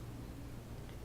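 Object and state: Nothing is struck.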